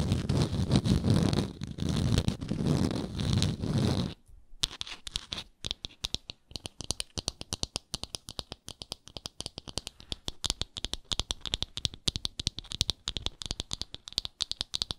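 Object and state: Wooden jar lid, scratched and tapped.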